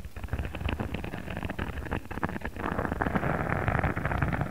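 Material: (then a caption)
Faux leather. Fingertips and short nails of both hands scratch and tap across a flat, thin, rectangular sheet of pink faux leather with an embossed checker texture, lying on a cutting mat. The result is a dense, low-heavy scratching and tapping with quick, dry taps and almost no ring. It grows fuller and louder in the second half.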